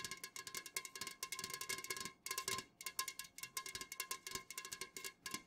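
Long nails on both hands fast-tap the sides of an unopened, full Jumex Guava Nectar aluminum can standing upright. About 34 quick, bright, clicky taps ring briefly with a metallic tone near 1 kHz, with a short pause partway through.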